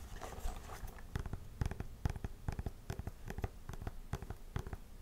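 Long nails scratch and tap along the upper and heel of a hollow, empty tan faux-suede lace-up combat boot with buckle straps, a side zipper and a stacked wooden-look heel. Soft scratching gives way to a run of quick, dull, low taps with almost no ring.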